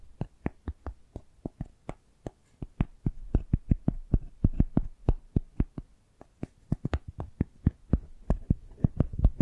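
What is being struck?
Cork coaster.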